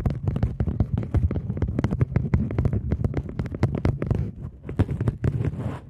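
A polymer £20 banknote, turned to its back side, is bent edge-on and then held flat while long nails scratch and tap across it. The result is a dense run of quick, dry crackling taps with a heavy low thump, with brighter scratchy bursts toward the end.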